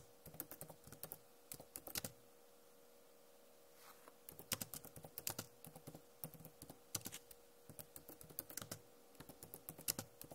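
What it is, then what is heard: Plastic laptop keyboard. Fingernails tap on the plastic keycaps of a backlit Acer laptop keyboard, making about 27 quick, dry, bright clicks with almost no ring. The clicks come in bursts, with a quiet pause of roughly two seconds near the start, over a faint steady hum.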